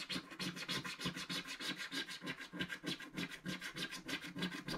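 A wooden scratching stick scrapes the black coating of a flat, solid scratch-art card page in a mandala book with short strokes. About 18 dry, bright scratches follow in a steady, fairly regular rhythm, each fading almost at once.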